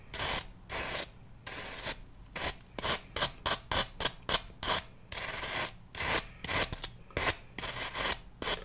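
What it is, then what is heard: Floral foam block scraped with a knife. A knife blade is rubbed and scraped along a small, solid, pale green block of floral foam held in the hand. It makes around nineteen short, dry, bright rasping strokes with quiet gaps between them, some longer and some quick.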